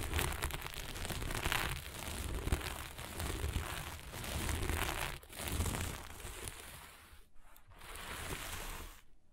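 Long almond-shaped nails on both hands scratch and rub fast across a flat sheet of fabric covered in small plastic sequins lying on a table. The result is a dense, continuous crinkly rustle with bright scratchy texture over a low rumble. It briefly drops out near the end before the rubbing resumes.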